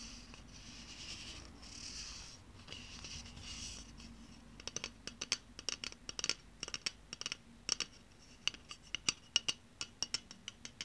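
Long painted nails scratch along a hollow pink aluminium spray deodorant can held up in the air, making a soft, bright, hissy rasp for the first few seconds. Then a run of sharp, quick, high taps on the metal follows, each with a faint bright ring, over a low steady hum.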